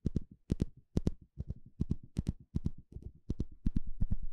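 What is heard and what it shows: A small blue plastic comb with fine teeth is held in the hand while a thin plastic stick scratches and flicks along its teeth. It makes quick, dry ticks, often in close pairs, with a dull low body and brief bright edges. The uneven rhythm grows slightly louder toward the end.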